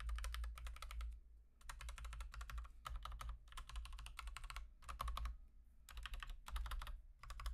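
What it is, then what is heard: Plastic mechanical keyboard typing. Fingertips of one hand type steadily on a full-size plastic Akko 3108 v2 Monet's Pond mechanical keyboard fitted with Gateron Pink switches. Bursts of quick, crisp clacks centered around 1.1 kHz come in rapid runs separated by short pauses, over a steady low hum.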